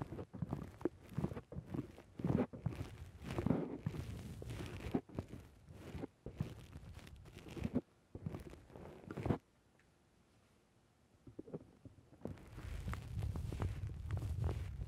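Fingertips press and squish a black porous foam windscreen on a microphone, then a hand grips its side. Many dense, low-heavy crunching and crackling squishes come in quick bursts, followed by a near-silent pause. Then a steady, muffled rumbling rustle builds as the foam is gripped.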